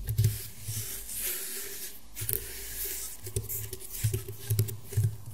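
Fingernail tips tap and scratch across the weave of a flat, round woven rattan table mat. Soft, irregular taps with a low, dull body sit under a bright, dry crackle of rustling fibers. Each tap dies away almost at once.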